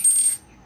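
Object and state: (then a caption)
Stainless steel ring, solid. A gold electroplated stainless steel stamp ring is tapped, giving a bright, high-pitched clink like a dropped coin that rings briefly before fading. It sounds very solid, with a distinctly higher pitch than a brass coin ring.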